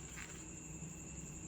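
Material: Nothing is struck.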